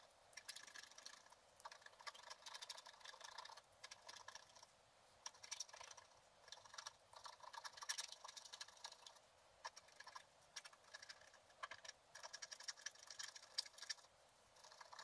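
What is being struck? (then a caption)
Black-coated scratch art paper card scratched with a wooden stylus. A wooden stylus scratches fine lines into the coating of a flat, black-coated scratch art paper card while the other hand steadies the card. The sound is a quiet, bright, dry scratching made of dense rapid ticks that come in short bursts separated by brief pauses. It has almost no low end and no ring after each stroke.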